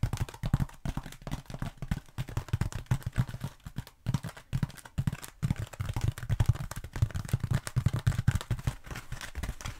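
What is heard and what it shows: Long nails quickly tap and scratch both sides of a black foam roller held upright in front of the face. The result is a fast, continuous stream of soft, dull, low thuds with very short decay and faint scratchy texture, with brief pauses before the tapping resumes.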